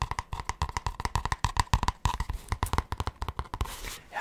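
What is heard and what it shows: Fingertips and short nails tap quickly on the thin cardboard cover of a large grey spiral-bound notebook held upright. The result is a rapid run of dull, low, dry taps with almost no ring, and they end in a softer, hissy scratch across the cover.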